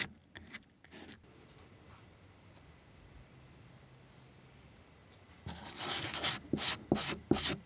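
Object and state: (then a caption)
Leather heel lift being scrubbed. A small curved stacked leather heel lift with a dark rubber edge, held in the fingers, has its flat leather face scrubbed back and forth with a small orange-tipped tool. A few faint scratchy strokes open the clip, followed by a quiet stretch. Then comes a louder run of bright, rasping rubbing strokes in a fairly steady rhythm.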